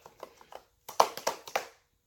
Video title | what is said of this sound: PACKING ON BLAST episode 1. From barbarian_kungfu | That definitely doesn't pass the shake test.